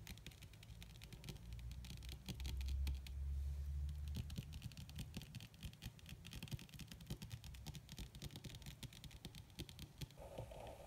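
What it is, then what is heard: Leather-covered padded surface. Long red acrylic-style fingernails on both hands rapidly tap and lightly scratch a flat, black, crinkled leather or faux-leather surface that appears padded. The result is a dense, quick, irregular patter of soft, dull taps with a low thump beneath and faint bright scratchy ticks, with a stronger low rumble around the third second.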